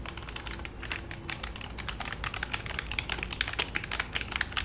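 Fingertips type rapidly on the keys of a black full-size plastic computer keyboard held tilted and then flat on a lap. A dense stream of short, bright clicks with quick decay rides over a faint low rumble, getting slightly louder and more distinct toward the end.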